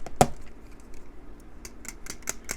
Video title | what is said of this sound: When is a knife no longer a tool? | when you shake it, you can hear the blade in there